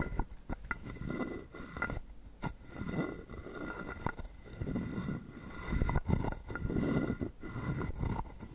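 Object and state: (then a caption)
Carved wooden frog guiro. A wooden stick is rubbed along the ridged back of a hand-sized, hollow carved wooden frog guiro held in the palm, and pushed through its mouth slot. This gives dry, ratcheting, croak-like scrapes with quick clicky ticks. The strokes come in loose, uneven repeats about once a second and have a low, woody body with little ring.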